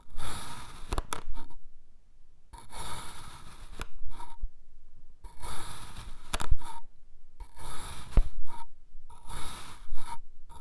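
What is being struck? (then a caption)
Kinetic sand mound cut with a metal knife. A dark iridescent metal knife slices further into a red kinetic sand mound, cutting it into thin layers. Each cut makes a soft, grainy scraping hiss with a bright top, broken up by short quiet pauses between strokes.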